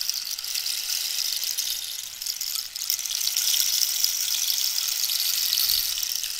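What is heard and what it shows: A long, hollow rainstick made of dried cactus is tilted while long nails tap and scratch along its wood. The result is a steady, bright, high hiss like falling rain, made of dense crackling rattles that dip briefly near the middle and then swell slightly louder.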